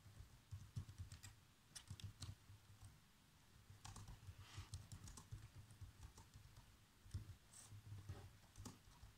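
Fingertips with short nails type fast across the black plastic chiclet keys of a laptop keyboard. The result is a quick, uneven run of soft tapping clicks with bright ticks over a low, dull thump under each keystroke, with brief pauses between bursts.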